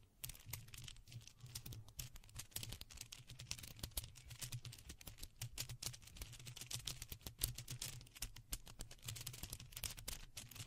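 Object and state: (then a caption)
Plastic faux pearl bead necklace. Two long strands of small, hollow-looking white faux pearl beads, likely plastic, are held in both hands beside a microphone without touching it and gently shaken and rolled between the fingers. The beads click against each other in a dense, continuous patter of short, bright ticks over a steady low hum.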